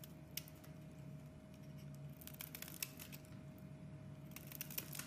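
A metal blade scrapes thin curls and flakes off a solid purple striped oval bar of soap held in the hands. Quiet, crisp scraping and crackly bursts come with bright, high edges, heaviest in the second half. A steady low hum and a faint constant tone run underneath throughout.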